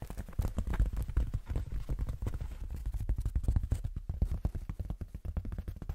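Fingertips with short nails tap and scratch across the surface and top edge of a large, flat, light-grey foam sheet with a fine speckled texture, held upright. A rapid, irregular run of dull, muffled thumps is heard, almost entirely low in pitch with no bright highs, each dying away almost instantly.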